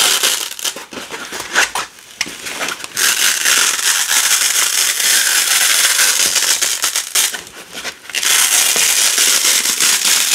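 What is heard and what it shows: A wide black nylon hook-and-loop (velcro) strip has its hook and loop sides pulled apart slowly by fingertips with long pink nails. It makes a dense, bright crackling rip that runs almost continuously and dips into brief quieter pauses near 2 and 7.5 seconds.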